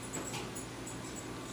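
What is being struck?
Nothing is struck.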